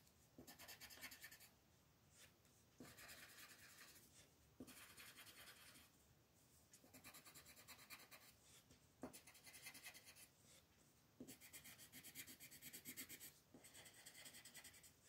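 A green wooden colored pencil colors a flat white paper mandala sheet lying on a table, scratching and rubbing across the paper. Quiet, bright, raspy strokes come in repeated bursts of rapid back-and-forth shading, separated by brief softer pauses.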